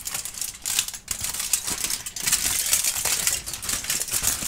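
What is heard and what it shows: A large, thin, crinkled aluminum foil sheet is spread out and crumpled by hand while an orange tabby kitten watches beside it. The sound is a steady, bright crackling rustle of dense, sharp crinkles with almost no low end. It swells and dips in loudness throughout.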